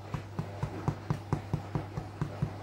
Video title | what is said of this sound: RESEP ROTI TAWAR GANDUM - ROTI TAWAR SEHAT - ROTI TAWAR WHOLEWHEAT | Kalau kedengaran suaranya seperti kosong, dia udah mateng tuh ya.